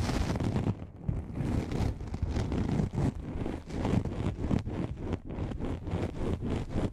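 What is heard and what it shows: Long manicured nails scratch and tap the fabric surface of a soft, hollow black nylon lens pouch. The result is a steady stream of dense, muffled rustling and soft thumping taps, heavy in low tones with little brightness.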